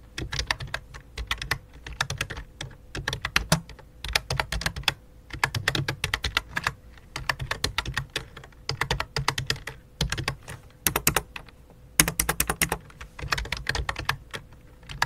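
Fingertips tap the keys of a full-size white and light-blue plastic computer keyboard with a hollow plastic body. Quick bursts of sharp, bright clicks come in steady runs separated by short pauses, with a faint low thump beneath each run. Each click dies away almost instantly.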